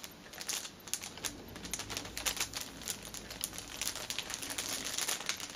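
Long nails tap and scratch a flat, soft fitness band package wrapped in a thin, clear cellophane sleeve, using both hands. Rapid, bright crinkles and sharp clicks run continuously with almost no low end, each tap dying away almost instantly.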